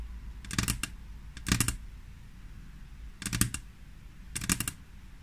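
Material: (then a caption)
Glass. Long, natural-colored fingernails of both hands tap and scratch a flat, solid frosted-glass tabletop. Four separate bursts of quick, bright clicking rattles stand out against a low, steady background hum, each burst dying away almost at once.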